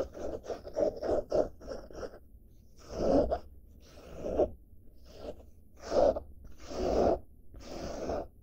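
Fingers and nails scratch the surface of a padded blue denim fabric bag held close to the microphone. A run of quick, short rasping strokes gives way to slower, longer scrapes with a soft, papery texture.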